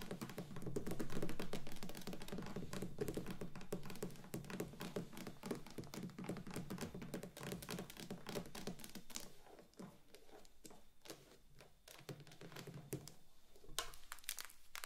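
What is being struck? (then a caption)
Wax pillar candle. Very long pointed acrylic nails on both hands tap and scratch around the sides of a large, unlit, neon-green solid wax pillar candle standing on a wooden table. Quick, dull, low clicks patter along at a brisk, fairly steady pace with a soft scratchy hiss beneath them. The taps are loudest early on, then thin out and grow quieter and more sparse toward the end.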